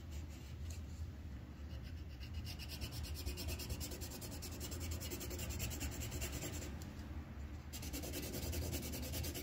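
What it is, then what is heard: Pencil coloring on paper on a clipboard. The tip of a green wooden colored pencil scratches and rubs across a thin white paper sheet on a clipboard while coloring in a leaf outline. Quick, steady back-and-forth strokes make a continuous dry, bright scratching texture over a low, constant rumble.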